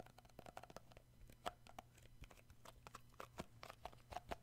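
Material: Plastic.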